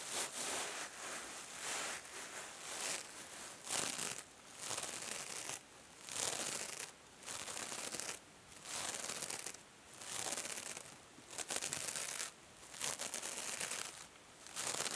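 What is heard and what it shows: A hand-held small rectangular kitchen sponge with a silver metallic mesh cover over foam is scratched by long nails and squeezed by fingers. Bursts of bright, hissy scratching and crinkling come in repeated phrases, broken by short quiet gaps, with almost no low end.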